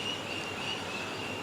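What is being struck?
Nothing is struck.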